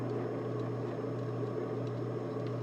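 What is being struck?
Nothing is struck.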